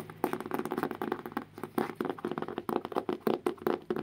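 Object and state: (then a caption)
Hardcover book. A solid blue hardcover book about the size of a notebook is held upright while fingertips and nails scratch and tap on its cover. The result is a quick run of short, dry, midrange taps mixed with soft scratching, with almost no low end and no ring after each tap.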